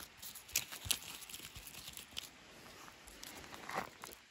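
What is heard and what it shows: Hands grip a solid natural wooden stick covered in dry, papery, lichen-spotted bark while fingers peel and crunch the bark flakes. Quiet, bright, crackly snaps and crinkles come in an irregular series of short, sharp bursts with almost no ring, over a soft rustling background.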